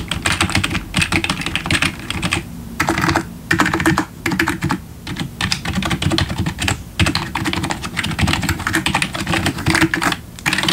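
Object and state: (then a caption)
Plastic membrane keyboard being typed on. Fingertips of both hands type steadily on a full-size black plastic membrane RGB gaming keyboard with backlit keys and a hollow plastic body, resting on a wooden desk. Rapid bursts of clattering key presses and taps carry bright clicks over hollow low thuds, broken by brief pauses.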